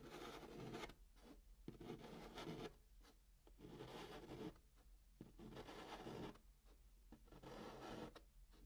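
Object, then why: Chalk on a cardboard box top. A hand draws small dots and circles with white chalk on the flat top of a brown kraft cardboard box. Short, dry scratching strokes come in quiet bursts separated by brief pauses, with a gritty midrange rasp and little high-end sparkle.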